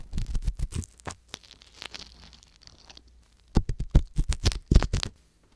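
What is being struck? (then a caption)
Metal ear pick in a silicone microphone ear. A wooden-handled metal ear pick scrapes and scratches inside the canal of a soft silicone ear on a hollow white binaural microphone body, working at the black capsule. Close, heavy low-frequency rubbing and thumping scrapes come in quick bursts. A quieter stretch of faint, brighter scratching follows before the loud scraping returns.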